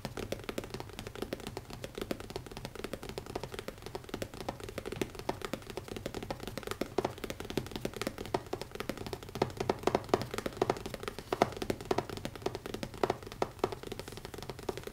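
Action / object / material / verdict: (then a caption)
tap / leather-covered hardcover notebook / leather / none. Fingertips tap fast on the cover of a small, closed black leather-covered hardcover notebook with an elastic band, lying on a wooden table. The result is a dense, continuous stream of soft, dull taps with almost no ring, centred in the low mids.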